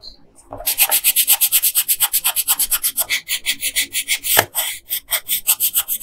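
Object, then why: Wooden colored pencil on a paper sheet. A yellow wooden colored pencil is rubbed back and forth on a flat paper coloring page in about 35 quick, even strokes. Each stroke makes a bright, high, scratchy rasp with almost no low end. One stroke near the end comes down louder, with a brief dull knock.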